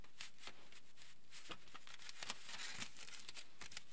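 A crinkled sheet of aluminium foil lies flat while fingertips rub and scratch across it, crinkling the foil. The result is a quiet, steady stream of bright, crackly rustles and sharp ticks.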